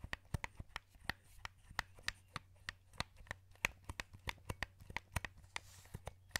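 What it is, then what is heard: Plastic game controller buttons clicking. A wired, hollow black plastic PS2 controller is held in both hands while the thumbs press and rotate the joysticks and click the buttons. About 24 short, sharp plastic clicks ring near 2.5 kHz with bright edges, each dying almost at once. A faint low hum sits steadily underneath.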